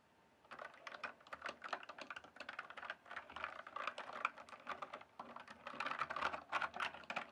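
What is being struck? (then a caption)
Plastic mechanical keyboard being typed on. Fingertips type and tap on a full-size RGB backlit plastic mechanical keyboard with a hollow case. The result is a fast, continuous stream of short, sharp key clicks with a bright, hollow clack, starting after a brief quiet moment and continuing for about seven seconds.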